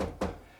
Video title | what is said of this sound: How to Clean a Chimney - How to Sweep a Chimney | you can hear that it's pretty solid. So that's telling us that the chimney, this pipe right here, has a lot of soot buildup on the inside